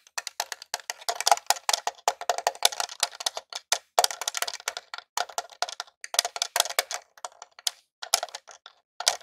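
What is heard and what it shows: Multiple fingertips and short nails tap rapidly on the top and purple switches of a small grey hollow plastic Super Nintendo Classic console. The result is a dense run of quick, dry, bright clicks with no low end and almost no ring, broken by a few brief pauses.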